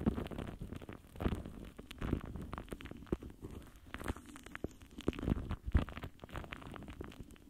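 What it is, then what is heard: Metal mesh microphone grille scratched with a foam tip. The foam tip of a pink lip gloss wand scratches and rubs across the top of a large, rounded, hollow metal mesh microphone grille. It produces soft, muffled scratching and rustling with dense, irregular crackles and brief louder scrapes. The sound is mostly deep and dull, with little brightness and no ring.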